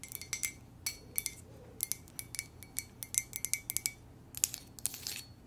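Long nails tap and scratch a hollow, apparently empty white ceramic coffee mug printed with "muah!" and lips. About 28 quick, bright clicks and clinks follow one another, each dying away almost at once with a faint high ring, over a quiet background.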